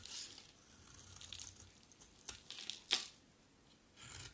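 A palm-sized bar of solid, dry white soap is carved and scraped with a utility knife blade, peeling off flaky shavings. Soft, bright, hissy scraping strokes are broken by a few sharp crisp snaps, the loudest near the three-second mark, before a final gritty scrape.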